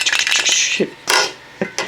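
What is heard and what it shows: A small metal can made to look like a real soda can, holding a Sonic toy figure rather than liquid, is shaken or opened, giving a bright, rapid rattling and clinking. A few sharper clicks and clinks follow with short pauses between. No fizz is heard, since the can holds only the figure.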